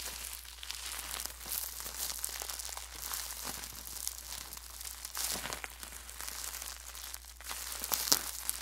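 A small wad of clear plastic bubble wrap is held in both hands near the mic and crumpled and squeezed with the fingertips. Bright, dense crinkling and crackling continues throughout, with sharp pops standing out near the end. A steady low hum sits underneath.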